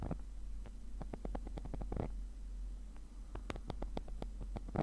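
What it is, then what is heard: Nylon mesh fabric case. A thin metal pick tip scratches the textured surface of a black woven nylon zippered case that is padded and hollow. Quick, dry scratching strokes land in a rapid, uneven series over a steady low rumble, each stroke a brief bright rasp that stops almost at once.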